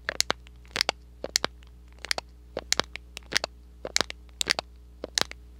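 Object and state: Thin cardboard box.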